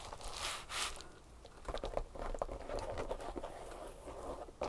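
Long painted nails tap and scratch the stitched front flap pocket and strap of a tan leather handbag lying flat. The result is quick, dry, crunchy clicks and rasping scrapes that stop short with no ring.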